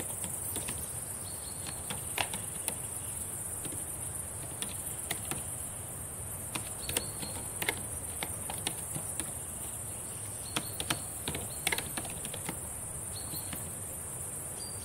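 Long decorated nails tap and type on the plastic keys of a black laptop keyboard, giving short, sharp, irregular clicks that come in uneven bursts. A steady high hiss and a low rumble run underneath the whole time.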